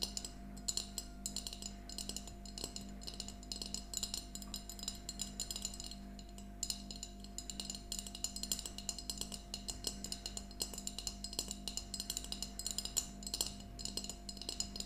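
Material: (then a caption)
Glass. A small, empty glass mason jar mug with a yellow plastic lid stands on a table and is tapped rapidly with long nails of both hands. The result is a continuous stream of quick, bright glassy clinks and ticks with very short ring, layered over a low steady hum.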